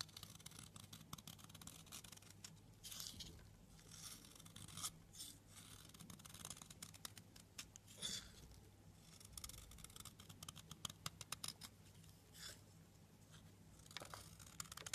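A blade cuts thin layered slices off the edge of a blue soap bar. The result is a long run of crisp, dry scraping and snipping with many quick bright ticks, heard over a low steady hum.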